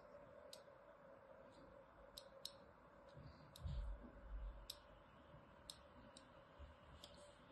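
A thin needle-like tool scores along the surface of a solid, palm-sized lilac bar of soap held in one hand. Sharp, bright scratching clicks come at irregular intervals over a steady low hum, with a brief low rumble in the middle.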